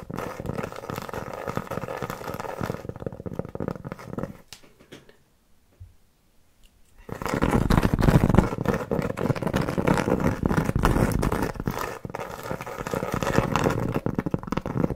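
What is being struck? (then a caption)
Cork trivet. Long nails scratch and tap a large, round, flat, solid cork trivet about 20 cm across, held upright in both hands. A dense, dry, low-heavy scratching rasps steadily, then drops to near silence for a couple of seconds. It resumes louder with busy scratches and taps until the end.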